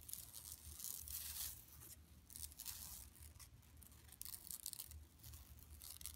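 Long nails scratch across the mesh and sides of an empty, flat yellow woven plastic mesh tote bag lying on carpet. The result is a quiet, bright, raspy scratching that comes in uneven bursts over a faint low rumble.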